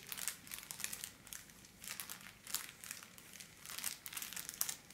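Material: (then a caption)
Plastic foil. A thin pink holographic foil wrapping paper sheet is held under both hands and scratched and crumpled with long black-polished nails. Quiet, bright crinkling and crackling comes in repeated bursts with short dry snaps. There are brief softer pauses in between.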